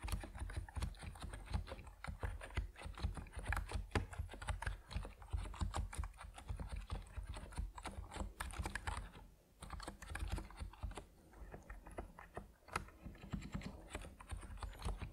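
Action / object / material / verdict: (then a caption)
tap / mechanical keyboard with PBT plastic keycaps / PBT plastic / none. Fingertips of both hands type steadily on an Epomaker NiZ Plum Atom 68, a 68-key compact mechanical keyboard with white and purple PBT plastic keycaps resting on a wooden desk. The rapid keystrokes make short, deep, muted clacks with little ring. There is a brief lull around the middle, then slightly softer typing before it picks back up.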